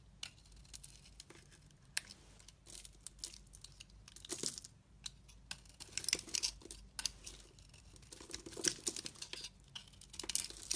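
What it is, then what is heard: Dry bar soap. A metal blade scrapes and shaves thin flakes off an oval, hand-sized solid bar of dry soap with a tan outer layer and green interior, held in a hand with long red nails. The result is quiet, bright, dry scratching and crisp crunchy rasps in irregular bursts with almost no low end, each stroke ending instantly with no ring.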